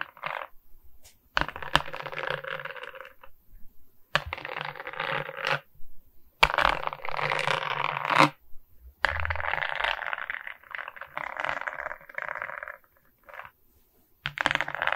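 Long nails tap and scratch across the resin rhinestone beads of a diamond painting set on a wooden frame. Bursts of dense, clicky rattling scratches run in stretches of a second or more, separated by short pauses. The bright, crackling texture centers on the mid-range with quick ticks in a close, dry sound.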